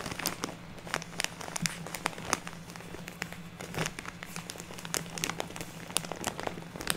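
Hands squeeze and crinkle a large plastic bag full of fluffy artificial snow while long nails scratch across the plastic. Dense, bright crackles and sharp crinkling snaps come in irregular bursts over a steady faint low hum.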